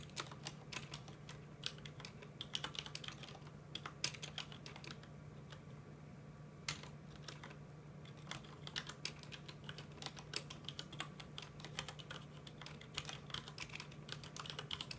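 Fingertips of both hands type on a full-size mechanical keyboard with plastic keycaps, making quick, bright, dry clicks that stop almost instantly. The tapping runs steadily over a constant low hum, with a brief lull near the middle before the typing picks back up.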